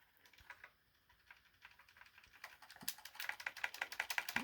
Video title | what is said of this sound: ZB-08 Dark Side Superitron | you get a rattle, but it's still on. It didn't come loose.